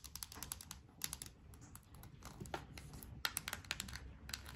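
A small yellow plastic Play-Doh tub, likely full, is held in both hands and turned while long nails tap and scratch across it. A quick, irregular stream of dry, bright clicks and light scratches comes through, each tap dying away almost instantly over a soft low background rumble.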